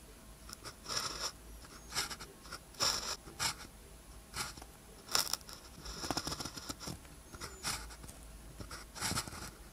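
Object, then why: Ballpoint pen on a thin paper sheet. A blue ballpoint pen tip scratches across a thin paper practice sheet with a red grid, lying flat, while writing characters. The result is a series of short, bright, scratchy strokes separated by quiet pauses, with the sound mostly high and thin and little low end.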